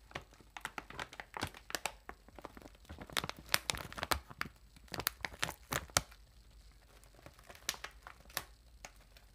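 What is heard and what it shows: Long nails scratch and crinkle the side and corner of a large, air-filled metallized plastic chip bag. Sharp, bright crackles and crinkles come in uneven bursts with quieter scratchy stretches between them, louder through the middle and thinning out toward the end.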